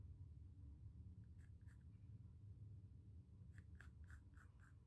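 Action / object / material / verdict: scrape / pencil on a stretched cotton canvas panel / cotton canvas / none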